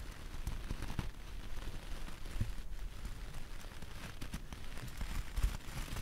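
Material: Wool.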